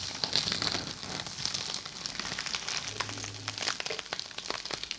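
A small, flat, yellow fuzzy sponge or felt pad, partly covered by a clear printed plastic wrapper, is held in both hands close to a binaural microphone while fingertips squeeze and rub it. The wrapper gives a steady, dense, bright crinkling with many quick crackles and almost no low end. Each crackle cuts off sharply.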